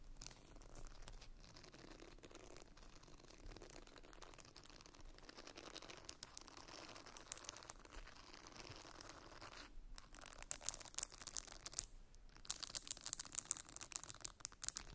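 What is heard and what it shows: A small round purple silicone facial cleansing brush with soft bristles and a plastic rim is held in both hands while long nails scratch and tap its bristles and rim. Quiet, steady crinkly scratching gives way after about ten seconds to sharper, brighter taps and clicks. The sound is mostly high and hissy with very short decays.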